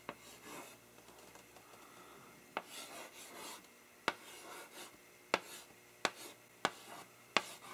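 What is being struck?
Chalk on a wood-framed blackboard.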